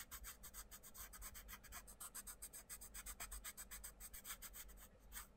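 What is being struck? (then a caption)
Pencil on a paper colouring book page. A wooden pencil tip draws continuous, scratchy colouring strokes on the page of an open paper colouring book lying on a table, while the other hand rests on the paper. The rapid back-and-forth strokes make a steady, bright, rasping scratch that pulses with each stroke over a quiet low rumble.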